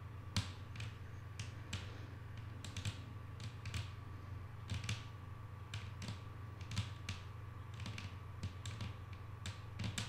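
Long painted nails from both hands tap on a flat, solid wooden tabletop, making quick, light, dry clicks at an uneven pace with short sharp peaks that fade almost at once. A steady low hum and a faint constant mid tone run underneath throughout.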